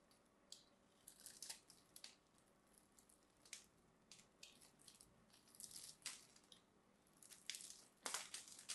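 A small black knife scrapes and carves the top edge of a palm-sized solid cream bar of soap held in one hand, and crumbly bits fall off. Irregular bursts of soft, bright, dry scraping and crumbling come at an uneven pace, with a louder cluster near the end. Between the bursts there is only a faint, quiet background.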